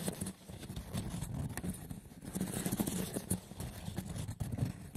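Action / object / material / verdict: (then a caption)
scrape / woven seagrass wicker box / seagrass wicker / none. Fingertips with short nails scratch and tap the woven top of a hollow, braided seagrass wicker box. Rough, rustling scratches mix with soft, dull taps that ring only briefly, with most of the energy low, around 160 Hz, and faint high crackle from the weave.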